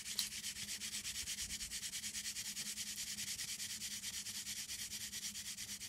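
Long green acrylic nails scratch and rub back and forth across the front of a flat printed paperboard chocolate box held upright. The result is a steady, rapid series of bright, dry scratching strokes, about three per second, with a faint low hum underneath throughout.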